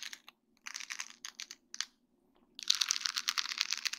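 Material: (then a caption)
Acrylic. A flat sheet of small faceted acrylic rhinestones on a plastic mesh backing is tapped and scratched with long dark-painted nails. Short bursts of bright, dry clicking and ticking come in clusters, then a brief pause and a denser, continuous stretch of scratching. The sound is crisp and high with almost no low end and no ring.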